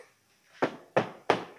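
Three knocks on the plastic or fiber body panel of a Smart Fortwo. Each gives a dull, short thunk that dies away quickly, and the panel sounds normal.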